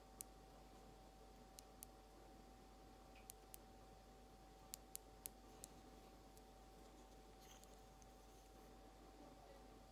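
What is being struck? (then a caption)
Small glass bottle with plastic cap, tapped with long nails. Long almond acrylic nails slowly tap a small frosted glass nail polish bottle with a white plastic cap, held in the hand. Sparse, sharp, bright clicks with almost no ring stand out over a quiet background with a steady mid tone and low rumble.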